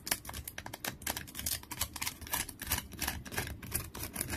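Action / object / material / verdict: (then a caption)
scrape / wooden stick with bark / wood / none. Fingernails scratch a long, solid wooden stick with peeling bark resting on a towel, sending bark flakes falling. Quick, irregular bursts of crisp, dry scratching and crackling carry a bright, high edge with little ring, over a soft low rumble.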